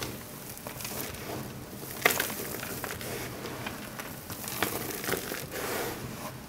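Both hands scoop and squeeze handfuls of a loose pile of small dry bar-soap shavings and chunks in green, yellow, white and blue on a marble-look surface, crushing and crumbling them with fingertips and palms. The result is a steady, dry, bright crackling and crunching texture with a few sharper snaps standing out along the way.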